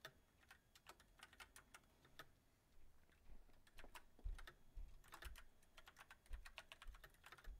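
Fingertips of both hands type on a backlit mechanical keyboard with white plastic keycaps on a silver metal frame. Bursts of short, bright clicks come in irregular runs with pauses between them, over a low rumble.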